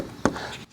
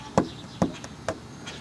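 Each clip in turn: First: A single short, firm thunk as a knife stabs the wood trim, which is solid with no rot. Second: Short, dull knife stabs into window trim with no ring: soft, rotted wood.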